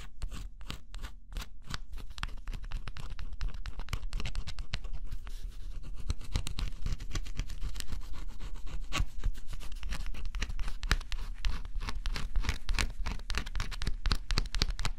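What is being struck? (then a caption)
Coated cardboard scratch-off puzzle scratched with a stylus. A small white-tipped stylus scratches the black scratch-off coating on a flat, thin cardboard jigsaw puzzle. It makes a steady run of quick, dry, uneven scratching strokes, about four per second, over a low, soft rumble. Each stroke gives a short, bright rasp that dies away quickly.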